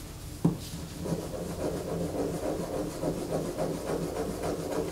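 A solid white bar of soap, held in the hands, is scraped by long fingernails, with soap shavings falling onto a poster. A single sharp tick opens the clip, followed by a steady, muffled, dull scratching that pulses irregularly in the low-mid range.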